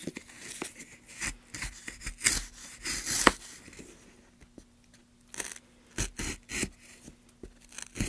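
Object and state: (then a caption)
Pine wood block being carved. A steel gouge carves and scrapes along the channel of a solid, light pine block held in a gloved hand. Short, dry, bright scraping strokes come in irregular bursts with brief pauses between them. A faint, steady low hum runs underneath.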